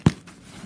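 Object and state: Baked-through bread loaf (hollow).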